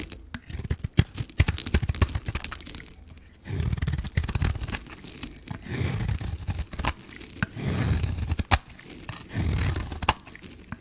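A metal blade shaves the gold coating and pink core off a solid Camay soap bar held in the hand. Quick, crisp scraping clicks come first, followed by longer, rough, low-heavy scraping passes that rise and fade several times.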